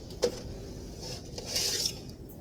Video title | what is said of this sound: WEEK #12 - YEAST BREAD LECTURE | thump the bottom and it should sound hollow